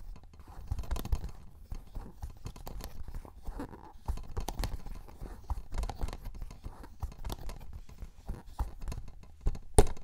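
A small, flat, yellow cellulose sponge, porous and soft, is held in both hands close to the mic and squeezed and rubbed with the fingertips. It makes a steady run of soft, crackling, squishy crunches over a low, muffled rumble, with brief brighter bursts throughout. One sharp, loud crackle comes near the end.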